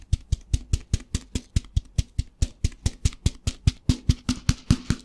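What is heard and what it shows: A plastic tub filled with rice is tapped with fingertips and shaken, giving a fast, steady run of about 24 short, dull thumps with a low body and a brief bright click on each. Each tap dies away almost at once, leaving a faint grainy rustle of rice between hits.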